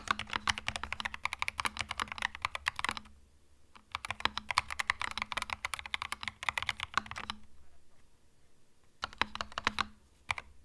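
Fingertips type on a compact cream mechanical keyboard with plastic keycaps in three bursts separated by short pauses. Each keystroke is a short, bright plastic clack that dies away almost instantly, over a faint low hum.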